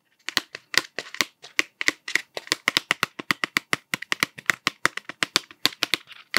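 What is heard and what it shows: Fingertips tap the blue plastic cap of a cardboard Smarties tube held upright, giving 35 quick, dry, clicky taps in an uneven rhythm. Each tap is bright and sharp, centred around 2 kHz, with almost no low end, and stops instantly with no ring.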